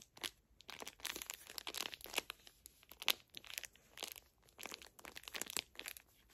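Long nails squeeze and crinkle the plastic film wrapper of a full small pocket pack of facial tissues. Bursts of dry, bright crinkling rise and fall in quick irregular clusters, with short quiet gaps between.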